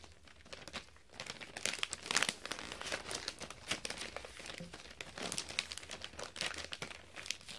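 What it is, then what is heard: Metallic foil wrapping paper being crinkled. A sheet of metallic gold foil wrapping paper is held and folded by fingertips, giving a dense, bright crinkling and tearing-like crackle. The short, dry crackles come in clustered bursts throughout, with very little low end.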